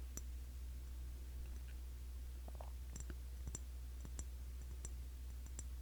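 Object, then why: Glass cologne bottle. Fingertips tap on the glass body of a cologne bottle, a Classic Match clone of YSL Y. Light, irregular clicking and ticking taps ring out with a high, bright tone over a steady low hum.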